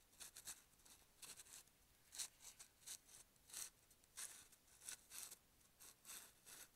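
A hand-sized, hollow dark plastic supplement bottle with a screw cap and paper label, probably holding capsules, is held upright between both hands and rubbed and scratched with fingertips and nails along the label and sides. The result is quiet, dry, bright scratching and rasping in short, irregular bursts with almost no low end and no ring after each stroke.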